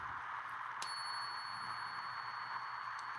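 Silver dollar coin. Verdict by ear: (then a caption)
Real. A real silver Morgan dollar balanced on a fingertip is struck once for the ring test. It gives a single sharp ping followed by a clear, high, sustained ring that carries on to the end of the clip over a steady background hiss. This is the long ring a genuine silver coin is expected to have.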